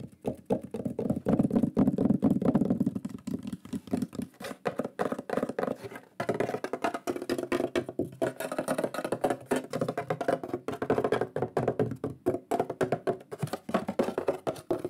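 A large, flat, solid wooden shield board with a lion burned into it is held up and tapped quickly with fingertips and nails. The result is a dense run of short, dry, hollow knocks with little ring, centred in the low mids. A brief pause comes near six seconds before the tapping resumes.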